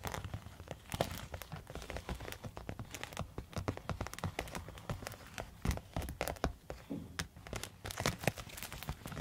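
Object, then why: Quilted foil thermal pouch. A silver quilted foil thermal zip pouch is scratched and tapped with long metal nail tips. The result is a dense run of quick crinkling, crackling taps and scrapes, each with a sharp bright click over a soft, papery low body. The taps die away almost instantly, with no ring.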